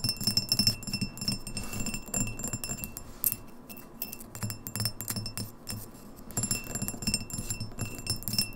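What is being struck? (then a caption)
Glass drinking glass. A clear, etched Red Lobster pint drinking glass, hollow and empty, is tapped rapidly on its sides with long nails. It is then tilted and tapped on the base. The result is a dense stream of quick, bright glassy clicks and light chinks with a short high ring, over a low rumbling undertone.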